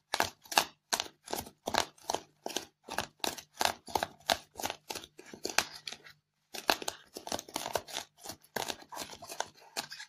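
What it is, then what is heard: Styrofoam block being scratched. Long fingernails rapidly scratch a white polystyrene foam block scattered with foam beads, tearing into the foam. A quick series of separate dry, bright, crackly scrapes runs steadily, with a brief pause near the middle before the scratching resumes.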